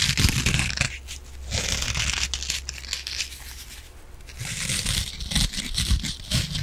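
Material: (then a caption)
Foam. A yellow and green kitchen sponge of soft foam with an abrasive scouring pad is squeezed and scratched with long nails and fingertips. Dense, bright crackling and rasping scratches come in waves, with soft crinkling squeezes and a low, muffled rumble beneath. The scratching swells and fades in intensity throughout.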